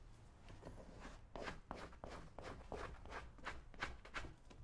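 A small metal blade scrapes along the shaft of a brown leather cowboy boot held steady by one hand. About eleven quick, rasping strokes come in an uneven rhythm, each a bright, gritty swipe over a faint low rumble.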